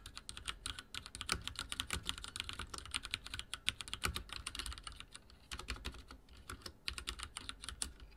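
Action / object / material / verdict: tap / plastic mechanical keyboard / plastic / none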